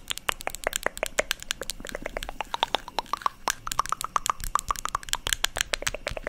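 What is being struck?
Small plastic cosmetic jar.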